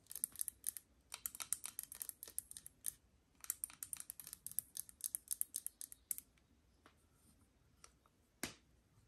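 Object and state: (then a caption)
Aluminium moka pot tapped with nails. Long nails tap an assembled, hollow aluminium moka pot on its metal body and central ring as it is held sideways and then upright. Quick bursts of quiet, bright, dry clicks with almost no ring thin out after about six seconds into a few sparse ticks. One final, louder tap comes near the end.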